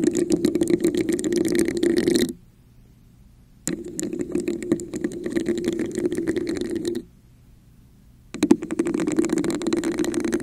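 Long nails tap and scratch a hollow red textured plastic cup placed over the microphone. Dense, rapid clicking and scraping carries a hollow, boxy resonance, with brighter scratchy texture on top. It comes in three busy bursts separated by two short silent pauses.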